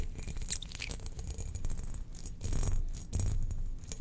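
Long nails scratch along the grooved pattern of a spherical, hollow, glazed ceramic Death Star cookie jar held in the hand. The result is a steady, dense rasping with a strong low rumble, broken by brighter scraping bursts that swell louder in the second half.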